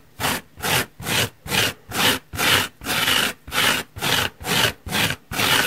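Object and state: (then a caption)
Foam sponge scratched with nails. Long painted nails scratch the surface of a large, soft, holey yellow foam car sponge block lying on a wooden table. The result is a rapid series of about a dozen separate rough, bright scratching strokes, each a short burst of hissy friction noise with brief pauses between.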